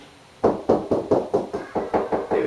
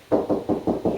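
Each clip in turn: First: solid spot on plasterboard wall over a wooden stud. Second: hollow plasterboard wall between studs.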